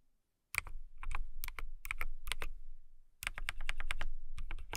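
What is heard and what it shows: Long nails type on a transparent acrylic mechanical keyboard with clear plastic keycaps and RGB lights. Quick runs of short, sharp clacks, each with a deep low thud and a bright click near 2.3 kHz, come in uneven bursts with a brief pause near the middle. Each keystroke dies away almost at once.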